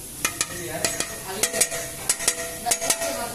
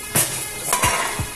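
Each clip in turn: First: motorcycle exhaust muffler with a loose internal part. Second: sound, tight new motorcycle exhaust muffler.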